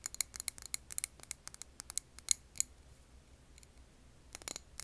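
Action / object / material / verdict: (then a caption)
tap / glass candle jar filled with wax / glass / none. A medium glass candle jar filled with green wax is held in the hands while long nails tap and scratch its glass wall and rim. About 19 short, sharp, bright clicks come in an uneven rhythm with almost no ring, then a quiet gap of faint scratching before a final cluster of taps.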